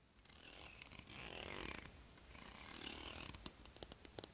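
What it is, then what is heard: Plastic comb teeth strummed. Long fingernails on one hand scratch and strum across the teeth of a solid, wide-tooth, hand-sized plastic comb held in the other hand in front of the hair. Two long, bright, rasping swells of dense clicking build and fade. They are followed by a short run of separate sharp ticks as the nails flick individual teeth.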